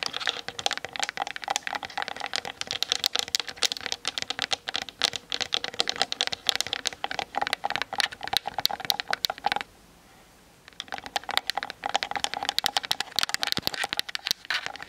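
Long nails tap fast around the lens and hollow plastic body of a Canon DSLR camera on a tripod. The result is a dense run of sharp, bright clicks with almost no low end, stopping for about a second near the ten-second mark before resuming.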